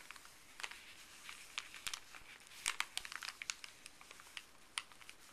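A small folded stack of thin paper from a pharmacy bag is scratched and crinkled by fuzzy gloved fingertips. Soft, dry, bright crinkles and crackles come in quick scattered bursts, with a few sharper snaps standing out. The sound has almost no low end and dies away instantly.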